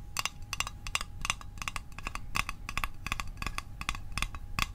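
A small, hollow, rectangular printed metal Altoids Arctic mint tin is held in one hand and tapped quickly with the fingertips and short nails. Each tap gives a short, bright metallic click around 3.5 kHz that dies away almost at once, over a low, steady background rumble.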